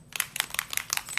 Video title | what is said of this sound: Démo Pochoirs * Le 30 mars - March 30, 2020 * Stencil Demo | when I'm mixing that you hear there's a ball in there